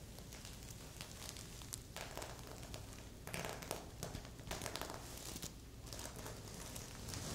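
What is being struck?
Stuffed pillow covered in plastic sequins.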